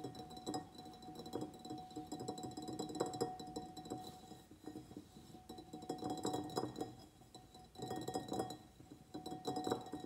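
A medium white ribbed ceramic pot holding a begonia in soil is tapped around its sides with the fingernails of both hands. The result is a quiet, continuous stream of quick, light clicks and clinks with short ringing tones, in uneven bursts that swell and fade.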